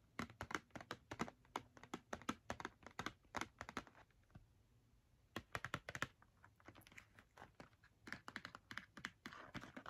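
Long nails tap quickly on the front and top of a small, hollow Crayola cardboard box filled with markers, held up in the hands. Rapid bursts of crisp, dry, clicky taps come and go, with a brief lull around four to five seconds. Each tap stops almost at once, with no ring.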